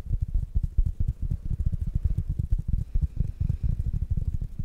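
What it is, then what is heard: Fabric-covered plastic smart speaker. A small black dome-shaped smart speaker, with mesh fabric over a hard plastic body, is held in one hand and tapped with the fingertips and nails of the other. The taps come fast and unevenly as short, dull, low thuds with almost no ring.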